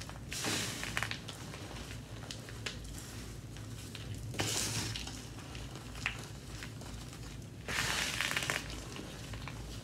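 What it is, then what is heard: Crushed gym chalk. Bare hands scoop, squeeze and crush a large pile of pink-dyed gym chalk (magnesium carbonate), loose powder with soft crumbly lumps, heaped on a grey surface with no container. Soft gritty crunching and rustling run throughout, with brighter, louder bursts of crumbling as handfuls are squeezed. A low hum sits steadily underneath.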